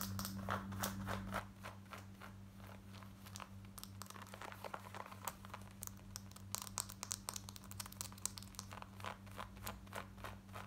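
Long nails scratch quickly over the front pockets and waistband of light grey cotton denim jeans worn on the body. The result is a rapid run of short, dry, bright scratching strokes over a steady low hum, louder at the start and again toward the end.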